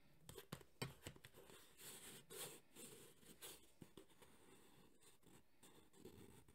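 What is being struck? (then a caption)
Hard EVA foam carrying case. Fingernails and fingertips scratch and tap across the textured surface of a black JBL hard EVA speaker carrying case held in both hands. The sound is a quiet run of quick, dry taps with short low thuds, mixed with brighter scratchy bursts as the nails drag over the texture.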